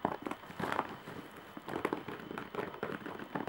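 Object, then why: Embroidered woven straw bag. Long painted nails scratch across a large woven straw or jute bag with raised embroidery lying on a bed. The result is a series of quick, dry, crackling scrapes in irregular bursts, centered in the midrange with little low end and only a faint bright edge.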